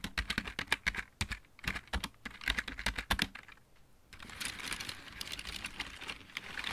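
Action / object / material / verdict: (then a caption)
tap / plastic mechanical keyboard / plastic / none. Both hands type rapidly with fingertips and nails on a full-size backlit plastic mechanical keyboard, producing quick, bright, clacking taps with short thuds underneath for about four seconds. After a brief lull, the sound turns into a steadier, softer, bright rasping texture that continues to the end.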